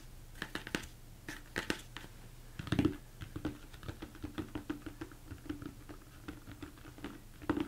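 Fingertips tap and scratch the sides and top of a large, hollow, empty plastic mixing bowl turned upside down. A steady run of quick, soft taps each gives a short, dull hollow knock around 300 Hz, mixed with light scratching. The taps die away almost at once.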